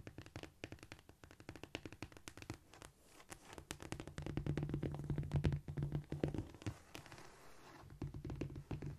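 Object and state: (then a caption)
Cork floor tapped with fingernails. Long nails tap rapidly with both hands on a flat, solid cork floor surface. Dense, irregular dry ticks and soft thuds land in quick succession, each dying away almost instantly. A low, steady hum swells underneath from about four to seven seconds as the tapping grows louder, then eases back to lighter taps.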